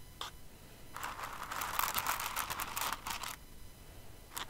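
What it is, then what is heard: Plastic rhinestones stirred. Fingers with long nails dig into and stir a pile of plastic rhinestones in an open clear container. A dense, bright rattling and clicking builds from about one second, peaks in the middle and fades near the end, with a short burst at the start and another at the very end.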